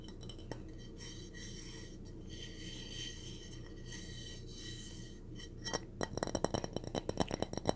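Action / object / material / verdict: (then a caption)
tap / small ceramic plate / ceramic / none. A small purple ceramic mini plate from a matching dish set is tapped, making a rapid series of light, bright clinks. About six seconds of quiet, low background hum come before the clinks, which are short with almost no ring.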